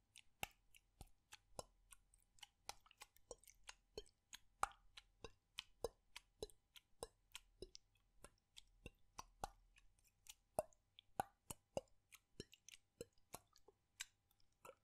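A frosted plastic bottle with a light blue cap, holding liquid, is held in one hand with the fingertips on its body while it is tilted and shaken. About 49 short, sharp, quiet clicks and liquid plops are heard at a steady pace, each dying away almost instantly, with a faint low hum underneath.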